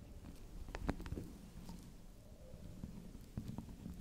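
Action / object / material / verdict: tap / bar of soap / soap / none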